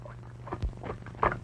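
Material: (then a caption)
Tin can. An ordinary metal can of peas packed in water is shaken, giving soft watery sloshing with a few dull thumps over a low hum. The peas and liquid audibly slosh inside the can, and it sounds watery.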